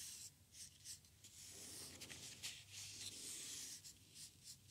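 A wooden craft stick's edge scratches and scrapes a small, hollow white foam paint roller sleeve with a red core, held close. The result is a quiet, bright, hissy rasp in uneven, repeated strokes.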